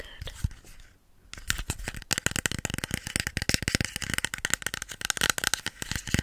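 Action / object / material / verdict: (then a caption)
tap / plastic spray bottle / plastic / none. A hollow pink plastic spray bottle with a white nozzle is held in both hands and tapped and scratched with fingernails. A soft scratching opening with a short lull gives way to a fast, dense run of sharp, bright plastic clicks and scrapes that continues to the end.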